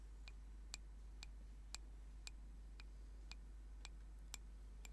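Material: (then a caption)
Wood. Fingernails tap a small, solid turned wooden singing bowl mallet held in the hands, giving ten short, bright clicking ticks at a steady, even pace. Each tick is dry and dies away almost instantly over a constant low hum.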